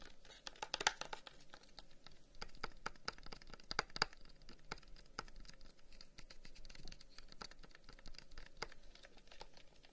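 A long, hollow wooden incense box with carved flower-pattern holes is held in the hands and tapped rapidly with the fingertips. The result is a quiet, dense stream of short, dry, woody clicks and light scratchy patter, with a few sharper taps standing out and no lingering ring.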